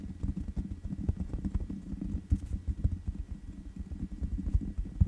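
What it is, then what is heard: Metal mesh microphone grille. Long nails tap the black metal mesh grille on the hollow head of a large USB condenser microphone. The taps come as soft, dull, low thumps in an uneven patter, with almost no ring and nothing bright on top.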